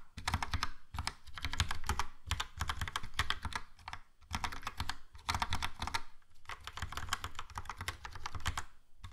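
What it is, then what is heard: Plastic mechanical keyboard. Fingertips type on a Logitech POP Keys plastic mechanical keyboard with a yellow plastic case and round black and grey plastic keycaps. Rapid, short clacky taps arrive in bursts separated by brief pauses. Each tap has a deep low thump under a bright click.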